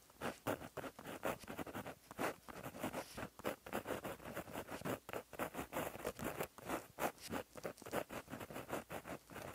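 A plastic-barrel gel pen with a metal tip, held in the fingers, writes across a flat black lined paper notebook page resting on a surface. Its tip scratches along the paper in a quiet, steady run of about 28 short, dry strokes. The sound is mostly midrange with a faint papery hiss and little low end.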